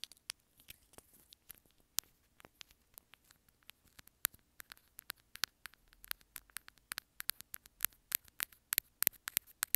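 Long nails rapidly scratch and tap along a small white plastic inline remote on an earphone cable. The result is a quiet, dense patter of dozens of sharp, bright clicks and scratches, each dying away almost instantly, with almost no low end.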